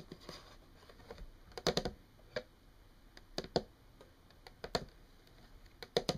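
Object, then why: Wooden tabletop tapped with fingernails. Long painted fingernails tap rapidly on a solid, flat brown wood-grain tabletop. Quick, dry clicks come in irregular bursts over quiet background hiss, each tap short and bright with almost no ring.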